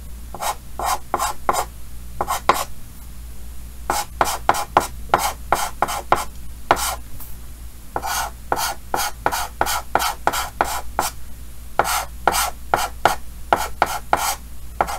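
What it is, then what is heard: Chalk strokes on a chalkboard. Yellow chalk held in the fingers scratches short strokes across a large, flat, solid painted chalkboard with a green frame. About 33 quick, dry rasping strokes come in rapid runs with brief pauses, each a bright, gritty scrape centered in the midrange. A steady low hum sits underneath.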